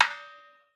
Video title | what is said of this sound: 01793505602 ভালো মানের আম কাঠের ঢোল পেতে হলে এখনই অর্ডার করুন কানাই মিউজিক্যাল সেন্টার জয়গুরু | মন্দিরে যেরকম এই জোড়া দিলে টং করে ওটা একটা শীষ মারে